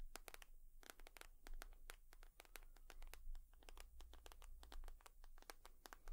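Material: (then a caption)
Leather. Long nails tap and scratch across a leather purse. The result is a quiet, irregular stream of quick, sharp clicks with bright edges, mixed with soft scratching over a low steady hum.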